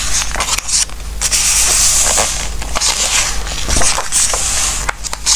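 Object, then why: Softcover book with glossy paper pages. Fingertips slide over the glossy paper pages of a softcover Christmas craft book, then lift and turn them. The result is a steady, bright, papery rustle and rubbing, broken by crisp swishing flips as pages turn over a faint low hum.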